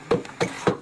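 Knuckle-free description: a large wooden piece of a structure inside an ice cave is knocked on several times, producing short, dull knocks with a hollow mid-pitched tone near 490 Hz that die away quickly. The wood sounds hollow.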